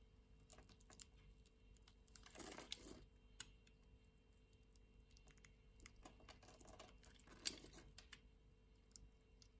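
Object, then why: Translucent soap bar scraped with a knife blade. A green-handled utility-knife blade scrapes a solid orange translucent soap bar, sending flakes falling. Quiet, bright scratchy ticks and crackles run throughout, with two longer, fuller rasping scrapes, one near the start and one later in the clip.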